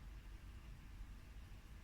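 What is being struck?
Nothing is struck.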